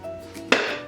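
A single tap on a ceramic floor tile that is hollow underneath gives a hollow, slightly ringing knock. It fades over about a quarter second over a faint steady hum.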